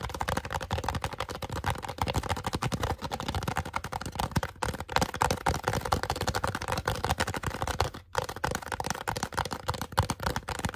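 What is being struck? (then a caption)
Polystyrene foam cup. Fingertips and nails grip, tap and scratch a small, hollow, empty white polystyrene foam cup turned upside down with a face drawn on it. A fast, dense stream of dry, crackly taps and scratches runs continuously with a hollow midrange tone, pausing only briefly near the eight-second mark.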